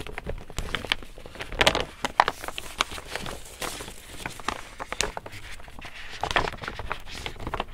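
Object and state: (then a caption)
Woven plastic tote bag. A large, empty pink woven polypropylene reusable tote printed with "Saw it Loved it Bought it" is held up, folded, then rubbed and patted with the palm. The result is a steady stream of dry, crinkly rustling with many short, bright crackles and occasional sharper pats rising above the texture.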